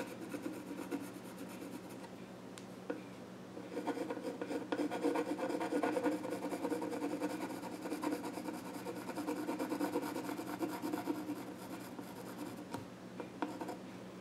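A pencil scratches sketch lines on the flat top of a small wooden child's stool. The result is a steady, dry rasping, strongest in the low midrange and louder in the middle of the clip, with repeated stroke-like surges and a few brief sharp ticks.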